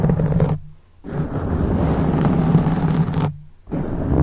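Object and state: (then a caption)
Foam microphone windscreen, scratched. The fingertips of both hands rub and scratch around the sides of a black foam windscreen on a silver microphone. It makes a dense, low, rumbling scratch with a muffled, roaring texture and almost no high content. The rubbing breaks off into near silence twice before starting again.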